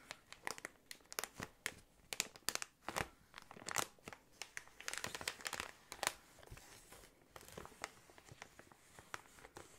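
An inflated clear plastic air column cushion is scratched with fingernails and rubbed with fingertips. It gives a dense run of sharp, bright crinkles and scratchy bursts that stop dead with no ring. The sound is thin with almost no low end.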